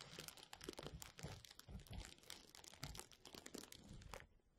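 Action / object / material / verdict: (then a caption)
scrape / plastic bubble wrap / plastic / none. A roll of clear plastic bubble wrap held over the mic is rubbed and squeezed by the fingertips of both hands. Dense, bright crinkling and crunching crackles continuously with soft low thumps under it, then thins out and fades near the end.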